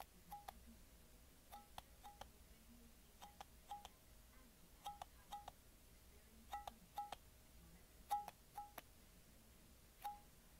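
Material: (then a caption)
Glass. Someone taps a small, empty, clear glass mason jar with a metal screw lid with their fingernails, holding it in one hand. The quiet, sharp clicks come in quick pairs and small clusters, each with a brief ringing tone around 820 Hz and a bright attack. A steady faint hum sits underneath.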